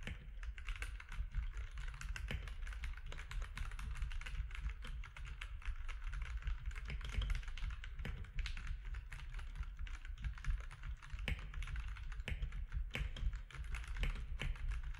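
Fingertips of both hands type steadily on a compact plastic mechanical keyboard with grey, white and orange plastic keycaps. The result is a continuous stream of quick, short clacks with a deep thumpy body and bright, crisp click edges.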